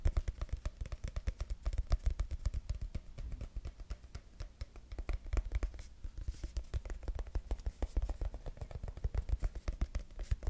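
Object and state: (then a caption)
Plastic squeeze tube. Fingertips and nails rapidly tap and scratch the body of a mint-green soft plastic cosmetic squeeze tube, held upright and then sideways close to the mic. A fast, steady stream of short, dry, muffled taps with deep low thumps is layered with faint scratching, and each hit dies away almost instantly.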